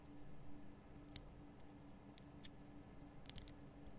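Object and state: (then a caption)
Himalayan salt lamp. Long painted nail tips tap a large, solid, lit pink rock-salt Himalayan salt lamp. Quiet, sharp, bright clicks sound sparsely over a steady low hum, each one dying away almost instantly.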